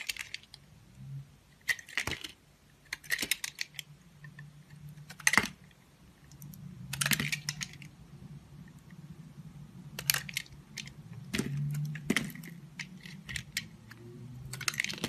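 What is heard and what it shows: A box-cutter blade scrapes and shaves a solid, rounded, hand-sized yellow Safeguard bar of soap held in the palm, peeling off thin curls. Crisp, bright scraping strokes come in short bursts, some sharp and clicky, over a faint low hum. Quieter stretches fall between the bursts.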